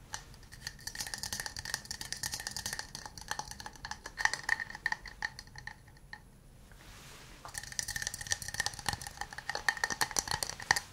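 An empty, small hollow wooden cup held in both hands is tapped and scratched with fingernails and fingertips, giving rapid, crisp clicking taps with a bright hollow ring near 1.8 kHz. The tapping quiets to a soft scratchy hiss for about a second and a half in the middle, then resumes in quick bursts.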